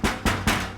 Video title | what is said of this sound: Choosing a new garage door? | This is almost like a drum. You know, if I tap on this, just like a child's toy, this thing rattles and makes way too much sound.